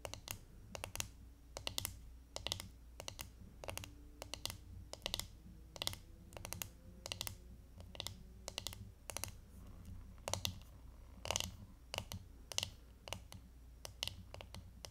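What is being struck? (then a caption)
Plastic hairbrush back. Long nails tap on the plastic back of a hand-held glitter hairbrush, making quick bright clicks in irregular bursts and short runs, much like typing. Each tap is sharp and dies away almost at once over a faint, steady low background.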